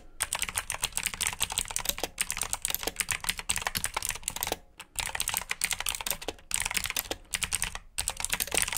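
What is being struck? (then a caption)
Plastic mechanical keyboard. Fingertips type steadily on the keycaps of a black plastic mechanical keyboard with blue switches, producing rapid, bright, clicky keystrokes. Short pauses break up the typing every second or two.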